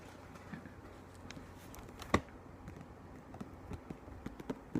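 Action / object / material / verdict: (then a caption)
tap / book / paper / none. A book is tapped in a quiet, unhurried series of soft, dull taps, each dying away almost at once over a faint low background hum. One sharper, louder tap stands out about two seconds in, and the taps grow a little more frequent toward the end.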